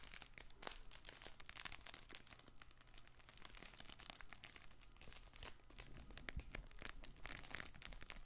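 A soft stuffed fabric crinkle toy ball with a ring and ribbons is squeezed and scratched with fingertips. The result is a steady stream of quiet, dense crinkling and crunching with bright, papery rustles over a low hum.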